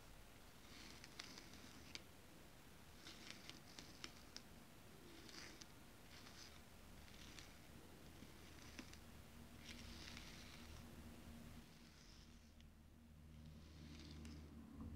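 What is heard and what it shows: Long acrylic nails tap and scratch a large flat sheet of white paper lying on a table. The sound is a series of soft, bright scratching bursts with sharp, quick taps scattered among them. A low steady hum runs underneath, and the whole clip stays quiet.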